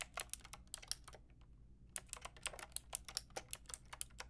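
Fingertips and long nails type on a full-size pink, grey and white mechanical keyboard with round plastic keycaps. Quick, bright, clicky keystrokes with almost no ring come in bursts, with a brief pause near the middle before the typing picks up again.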